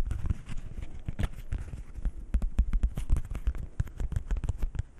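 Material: Coated paper.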